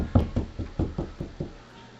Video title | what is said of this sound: How to install surround sound wires: Part 2 Finding trusses | this is a nice open Bay where I can stick my speakers and it sounds Hollow